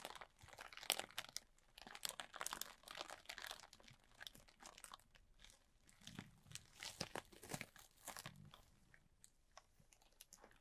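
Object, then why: Plastic bag filled with polystyrene foam beads. A large clear plastic bag, full and tightly packed with small white polystyrene foam beads, is scratched and squeezed with the fingertips and short nails of both hands. The result is a steady stream of quiet, bright crinkling and crunching with crisp, quick-fading scratches and little low-end weight.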